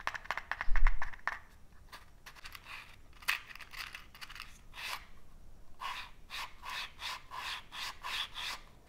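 A small cardboard matchbox full of wooden matches has its drawer slid open and shut while fingertips rub its cardboard surfaces. A quick burst of loud, rattling scrapes with a low thump comes first, followed by a series of softer, dry rubbing strokes with a bright papery hiss.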